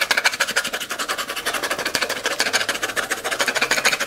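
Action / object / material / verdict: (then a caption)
scrape / small plastic screw-lid tub / plastic / none. Long glitter acrylic nails rapidly scratch and tap the white plastic screw lid of a small, clear, round plastic tub, partly filled with pink and silver glitter and held in one hand. The result is a steady stream of quick, dry, bright clicks and scrapes with almost no low end and no ring.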